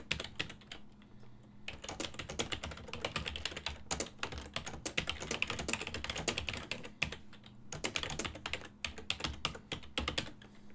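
Fingertips type quickly on a full-size silver-and-black plastic desktop keyboard with hollow key switches, making dense, bright, clicky key taps that stop almost instantly. The typing runs in bursts with short pauses near the 1.5 and 7.5 second marks, over a faint steady low hum.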